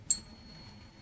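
A 90% silver Morgan dollar is pinged once in a ping test, giving a bright, high metallic ring with a thin tone that lingers faintly for about a second. A soft low thump is heard near the end. The high, lasting ping is the sound of a genuine 90% silver Morgan dollar.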